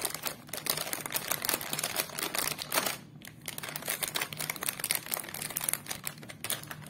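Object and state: Plastic snack packet.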